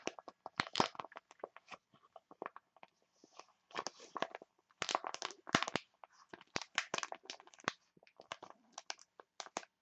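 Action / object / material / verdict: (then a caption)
scrape / foil-laminate sachet / foil laminate / none. A printed foil-laminate green tea face mask sachet is crinkled and crushed by hands with long nails. Dozens of quick, sharp, bright crackles come in uneven bursts with brief pauses. Each crunch is dry and dies away almost at once.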